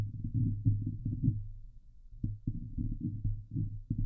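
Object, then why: Steel mesh microphone grille. Long glitter nails on both hands scratch the hollow steel mesh grille of a Blue Yeti microphone. It makes a dense, muffled, low rumbling scrape with a steady low hum and quick thumping strokes. The strokes ease off briefly around the middle, then pick up again.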